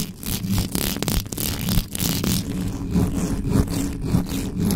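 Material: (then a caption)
Metal mesh. Long nails and fingertips scratch and rub the mesh grille of a black metal USB microphone with no cover. The sound is a dense, fast, uneven scraping with a heavy low rumble underneath and bursts of bright hiss.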